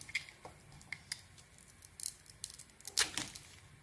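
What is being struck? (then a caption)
Bar of soap. A metal blade carves scraping cuts into a solid, palm-sized red bar of soap with glitter lettering, held in the hand, peeling off slices to show the white core. About ten quiet, crisp, bright scrapes and crackles are heard, mostly high-pitched with almost no low end. Each dies away quickly, and the loudest comes near the three-second mark.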